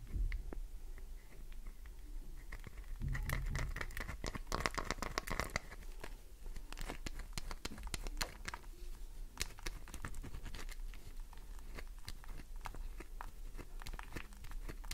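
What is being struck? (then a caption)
Glycerin soap bar. Long nails tap the top edge of a solid green glycerin soap bar and scratch across its face. The result is a steady stream of quick, crisp clicks and dry scratching over a low rumble, with a brief faint tonal hum early on.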